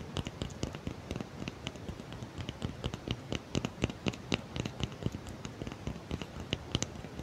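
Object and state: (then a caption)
Cork block. A small, solid block of natural cork, held in both hands close to the mouth in front of a microphone, is scratched and tapped with long fingernails. A rapid, uneven stream of short, dry taps and clicks with bright ticks sits over a soft, continuous scratching rustle with a low, muted body. Each tap dies away almost instantly.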